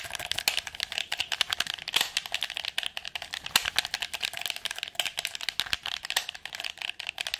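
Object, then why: Hard plastic game controller. Long nails rapidly click the buttons and tap the casing of a red PS4 controller made of hollow, hard plastic. A dense, fast stream of sharp, dry clicks and taps, bright and thin with almost no low end, each dying out almost instantly.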